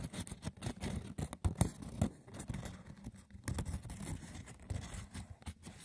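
The textured woven surface of a wicker basket is scratched roughly and tapped, producing a dry, rapid run of rustling scrapes and short, dull knocks. The sound is mostly low and muffled, with quick bright crackles between strokes and little ring after each hit.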